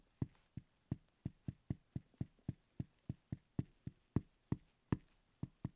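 A wooden pencil tip repeatedly taps and knocks the top surface of a small, solid wooden letter block marked X. The 19 separate knocks are short and dull, with a low, woody body and almost no ring, coming at an uneven pace over about six seconds.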